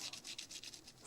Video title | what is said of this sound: Embellissement #1 Fleurs filtre à café et aquarelle (sans dies) | Ça craque. Le papier est totalement sec.